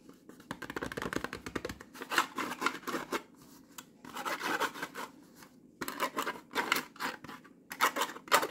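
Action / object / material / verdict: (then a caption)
scrape / plastic noodle pot with foil lid / plastic / none. Long nails scratch and tap on the sealed foil lid of a full, round plastic Pot Noodle pot. The result is a dense run of quick, crackly scratches and light ticks in bursts separated by brief pauses, bright and papery with almost no low end.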